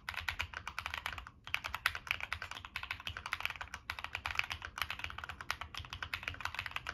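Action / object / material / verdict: tap / mechanical keyboard, aluminium case with plastic keycaps / aluminium, plastic / none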